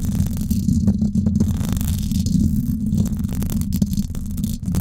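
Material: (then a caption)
Metal mesh. Long acrylic nails scratch the hollow silver woven-wire dome grille of a Blue Yeti microphone. The result is a dense, continuous low rumbling scrape with a steady rattling texture centered around 200 Hz, and the level holds fairly even throughout.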